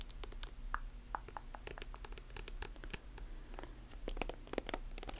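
Long nails tap and scratch a silver metallic plastic lotion tube and its chrome cap. The result is a rapid, irregular run of short, dry, clicky taps with bright edges and brief scratchy strokes that die away almost instantly, over a steady low background hum.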